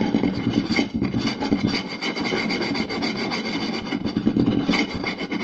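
Two hands quickly scratch the surface of a round solid wooden plate with fingertips and short nails. The result is a dense, continuous rasping scratch with a woody mid-low body and a bright, hissy top. It holds a fairly steady level throughout, with small surges.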